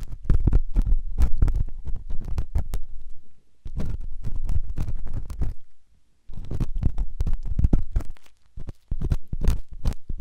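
A metal ear pick scrapes inside the canal of a white solid silicone ear on a binaural microphone. It makes dense, rapid low scratching and thumping bursts, deep and muffled, in three stretches separated by brief pauses.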